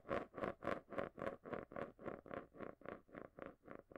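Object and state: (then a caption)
Marble rolling in a plastic container. A marble swirls and rolls around the inside base of a small, round, hollow clear plastic container held upside down in both hands close to the mic, scraping and rattling against the plastic. About 15 rhythmic swelling whooshes are heard, each a gritty rolling rasp with a hollow tone around 540 Hz. They fade slightly over time.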